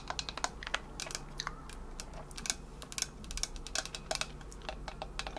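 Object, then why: Insulated stainless steel water bottle with painted finish. Long nails tap and scratch the body of a hollow Owala insulated stainless steel water bottle with a painted finish. The result is a rapid, irregular stream of sharp, bright clicks with very short ring, heard over a faint steady low hum.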